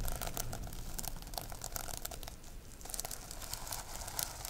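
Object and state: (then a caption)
Sequin-covered notebook scratched with nails. Long nails brush up and down over the rainbow reversible plastic sequins covering a notebook. The result is a dense run of crisp, crinkly scratching and clicking with bright high sparkle over a low rumble, with a brief quieter dip midway.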